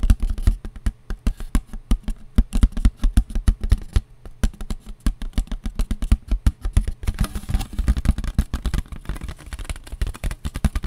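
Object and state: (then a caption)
Paper plate. A paper plate is tapped rapidly with the fingers, making a steady run of dull, papery taps. Each tap is short with almost no ring, and the sound sits low with a soft thud. The tapping pauses briefly around the middle, then resumes in a denser, faster patter.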